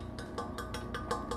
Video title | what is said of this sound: Big Haul from the Yard Sale, Thrift Store and Flea Market | it makes like a tinging noise